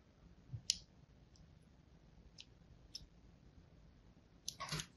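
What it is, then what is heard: Bar of soap being scratched. A thin blade scratches a crosshatch pattern into the surface of a solid white Duru soap bar held in the hand. It makes quiet, bright, short clicks spaced out over a soft background hiss, ending in a louder, longer cluster of scraping clicks.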